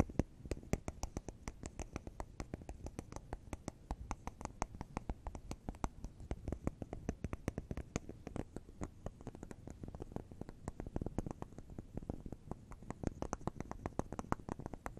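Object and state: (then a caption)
Wax bubble cube candle tapped with nails. Long acrylic nails tap and scratch over the round bubbles of a solid wax bubble cube candle, which is held and set on a table. A fast, steady stream of short, dry clicks and taps plays for the whole clip, with a dull, low-heavy body and quick decay.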